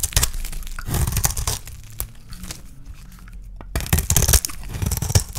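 A solid, hand-sized yellow bar of dry soap is shaved with a small metal blade into thin curls. Crisp scraping and crackling strokes come in dense bursts at the start and end, with softer scraping in between. A low rumble runs underneath, and there are bright, dry crunchy edges.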